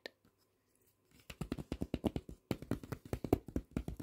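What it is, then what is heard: Glossy paper magazine. Fingertips tap quickly on an open glossy paper magazine lying flat, its thin stacked pages resting over a soft surface, after a pen briefly traces over the page at the start. After a near-silent opening, about two dozen soft, dull taps follow in rapid, uneven bursts, each dying away almost at once with no ring.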